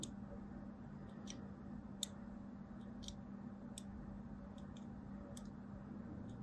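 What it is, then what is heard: Soap bar being scored with a blade. A thin blade scores lines into a solid striped soap bar held in the hand, making a series of soft, bright, crisp clicks and scrapes. The clicks are short and dry, with no ring, and sit over a steady low hum.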